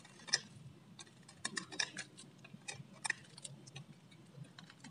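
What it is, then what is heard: Bar of dry soap being scraped. A metal utility blade shaves and scrapes a solid, palm-sized bar of varnished, dry blue soap into curls and strips. Crisp, bright, dry scratches and sharp ticking cuts come in uneven bursts, each dying away almost instantly over a faint low rumble.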